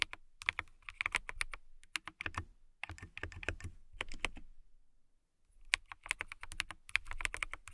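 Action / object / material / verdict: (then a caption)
tap / plastic mechanical keyboard / plastic / none. A clear plastic mechanical keyboard with transparent keycaps is typed on by long-nailed fingertips, producing bursts of quick, sharp, bright clicks with very short ring. The bursts are broken by brief pauses, including a near-silent gap around the five-second mark before the typing resumes.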